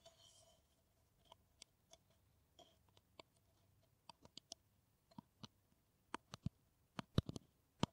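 A hollow kraft paper coffee cup is scratched and tapped with long nails. A soft scratching rustle opens the clip, then about 20 sharp, dry clicks follow at an irregular pace with almost no ring. The taps grow louder and more hollow-sounding toward the end.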